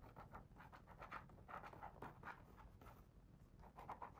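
A fingertip traces the words on a paper page of a hardcover picture book, and a page is turned. Quiet, steady scratchy rubbing strokes with a soft papery swish rise and fall throughout, centred in the midrange.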